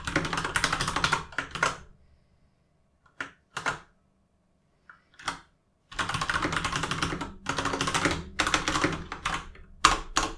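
Both hands type with their fingertips on a full-size mechanical gaming keyboard with plastic keycaps resting on a desk, producing rapid, clacky keystrokes with a bright edge. A dense burst of typing gives way to a near-silent pause broken by a few isolated key presses, then fast continuous typing resumes until the end.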